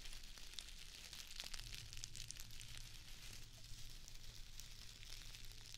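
Long acrylic nails scratch a small square of plastic artificial grass, which is then held up with both hands. The result is a quiet, continuous crackly rustle with bright, high scratchy ticks over a steady low hum.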